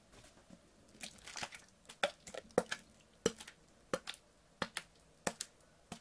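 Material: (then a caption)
Plastic. A clear PET water bottle, partly filled with water, is squeezed, crinkled and tilted by hand. It makes a string of sharp, bright plastic crackles and snaps that come in irregular clusters. Each one dies away almost instantly against a quiet background.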